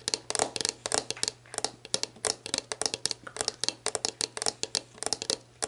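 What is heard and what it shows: Long black nails tap and scratch the base and label of a clear plastic sports drink bottle, hollow and mostly empty, lying on its side. A quick run of crisp, bright clicks and scratchy rustles comes in short bursts, each dying away almost at once, over a faint steady low hum.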